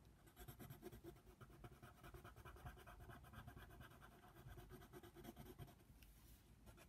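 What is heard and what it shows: A hand colors a giraffe drawing on a flat white paper coloring book page lying on a table, scratching the tip of a yellow colored pencil back and forth across the paper. The result is a soft, steady, dry scratching made of quick, repeated strokes that run together throughout.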